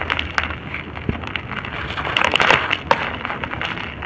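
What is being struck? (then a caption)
Moulded lumps of soil. Cup-shaped lumps of dry red soil mould are broken and squeezed in the hand, then the dust and crumbs are poured out. Dense, dry crunching and crackling with many sharp, bright snaps runs throughout, thickest near the middle, over a soft, gritty rustle of falling crumbs.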